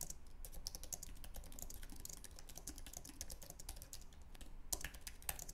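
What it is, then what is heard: Low-profile aluminum and plastic keyboard being typed on. Both hands' fingertips type rapidly on a white, low-profile wireless Apple Magic Keyboard with an aluminum base and plastic scissor-switch keys, resting on a wooden desk. A quick, steady stream of soft, short clicks with bright high edges plays over a low hum, each keystroke dying away almost at once.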